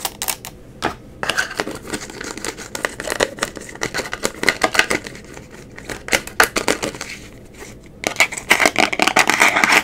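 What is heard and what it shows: Long acrylic nails rapidly tap and scratch the black plastic lid and sides of a small, round amber glass cosmetic jar. Quick, irregular bright clicks mix with dry, hissy scratching, and the final couple of seconds turn into denser, louder, continuous scratching.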